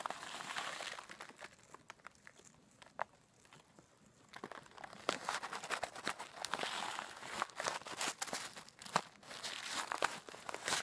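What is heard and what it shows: A hand with long black nails holds up a clear plastic zip bag about half full of coarse pink rock salt crystals, then shakes and squeezes it. Dense crinkling of the bag and the grinding crunch of the crystals fill the opening second. A quieter stretch follows with only scattered sharp clicks, before steady, bright crinkling and crunching return from about four seconds to the end.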